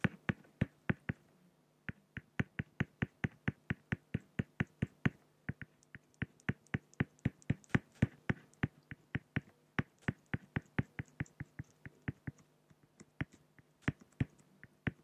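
A pen tip hatches strokes along the lower neck of a drawing on a flat, solid acrylic glass (plexiglass) sheet. Dozens of short, sharp tapping clicks come in quick runs with brief pauses, each dying away almost instantly over a faint, steady low hum.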